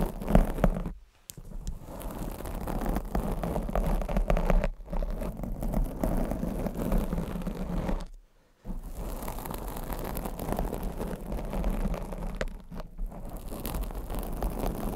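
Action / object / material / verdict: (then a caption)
scrape / foam microphone windscreen / foam / none. Long blue acrylic nails scratch and grip both sides of a black foam windscreen on a condenser mic, producing a dense, low muffled rustling and scraping. The sound runs almost continuously, with brief silences near 1 and 8.5 seconds.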